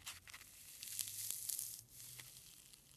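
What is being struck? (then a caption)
Foam packing peanut. A single small white foam packing peanut is pinched and squished between fingertips and thumb, held above a pile of them. It gives quiet, bright, irregular squeaks and crinkly crackles with a tearing, rustling texture, each one very short and dry. A faint low hum runs underneath.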